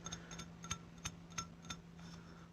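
A square bisque-fired ceramic piece, about halfway baked and still needing a glaze and a second firing, is flicked with a finger while set against unfired greenware. A series of short, bright, glassy clinks sounds over a steady low hum.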